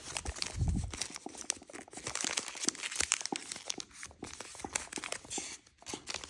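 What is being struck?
Thin origami paper.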